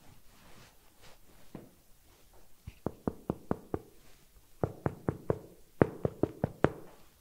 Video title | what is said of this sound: 10 TIPPS & TRICKS fürs Brotbacken mit Sauerteig | Das klingt schön hohl, das Brot ist fertig.